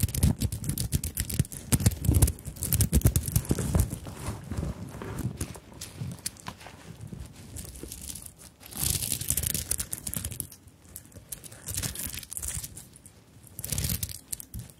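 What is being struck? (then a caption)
Sequined beaded fabric handbag. Long nails scratch across a small fabric handbag covered in sequins and beads, making dense crinkly, rustling scrapes over soft low thumps. The scratching is busiest and loudest in the first few seconds, then comes in quieter waves with brighter rasping bursts near the middle and the end.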